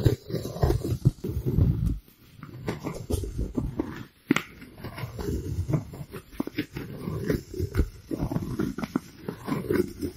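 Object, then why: Styrofoam plate. A white round styrofoam plate is moved around close to a microphone and rubbed and scratched with fingers. It gives low, dense rubbing and squeaking with sharp scratchy bursts, and brief quiet gaps near two and four seconds.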